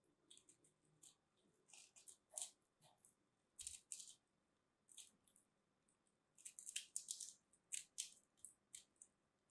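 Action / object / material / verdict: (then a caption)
scrape / starch-coated soap ball / soap, starch / none. A craft blade scrapes and cuts a palm-sized, solid pink soap ball covered in starch and glitter flakes, held in the hands, until it breaks apart. The sound is a quiet, irregular series of short, crisp, bright crunching and scratching bursts with no low end and almost no ring after each stroke.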